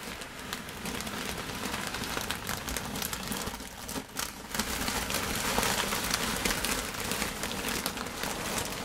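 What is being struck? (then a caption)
Crinkled kraft paper lining a cardboard box. Hands with long pointed nails scratch and tap crinkled brown kraft tissue paper, thin and lightly flecked, lining an open cardboard box. A steady, dense crinkling and rustling with bright, crackly highs continues throughout, dipping briefly near the middle before picking up again.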